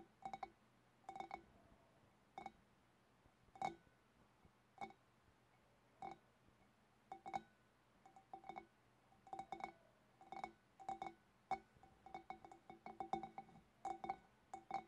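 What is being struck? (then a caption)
Glass fish bowl. Long dark-painted nails tap the outer sides of a large, clear, empty, hollow glass fish bowl in quick irregular clusters of taps. Each tap gives a short, quiet glassy clink with a ringing tone around 780 Hz and faint bright overtones that dies away almost at once, leaving near silence between the bursts.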